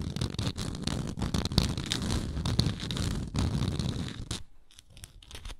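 Long nails scratch along the surface of a round, textured wooden lid on a frosted glass jar. The result is a dense, uneven rasping with a low rumbling body and bright scratchy edges. It eases off near the end into quieter, sparse scrapes.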